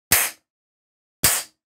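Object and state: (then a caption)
Solid metal camera housing. The metal housing of a Reolink Duo 3V PoE security camera, rated IK10, is struck twice with an object during a vandal-resistance test. Each blow is a sharp, bright metallic clang with a short, fading ring, separated by about a second of silence. The camera is left without even a scratch.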